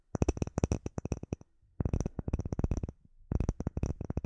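Short nails tap and scratch a flat, solid, clear acrylic plate with embedded bubbles, held in both hands. Three bursts of quick, dry taps each give a low thump with a bright click and almost no ring, with faint scratching in the pauses between bursts.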